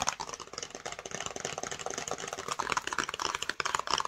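Long nails tap quickly on the front and top of a flat, hollow black and yellow cardboard screen protector box. The result is a fast, continuous run of dry, clicky taps with a hollow papery tone, bright and with almost no low end. Each tap dies away almost instantly.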